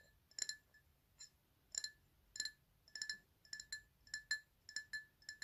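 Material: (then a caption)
Glass. Fingernails tap the upper side of an empty black PlayStation glass tumbler held on its side. The result is a quiet, irregular series of bright, high clinks with a hollow glassy tone, each dying away almost at once.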